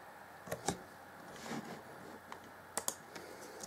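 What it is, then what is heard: Plastic laptop keyboard. Fingertips tap and press the keys of the black plastic chiclet keyboard on an Acer Chromebook C20 (2014) in slow typing. Seven short, bright plastic clicks are spaced unevenly over a quiet background, some in quick pairs, each dying away almost instantly.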